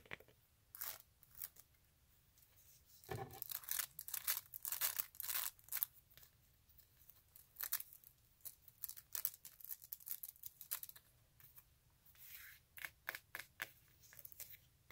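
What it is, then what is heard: Rubber sandal sole. Long acrylic nails tap and scratch the layered synthetic edge and ridged rubber bottom of a flat sandal sole held in the hand. Quick, irregular bursts of bright, crisp clicks and scraping rasps follow one another with short pauses, and there is almost no low end.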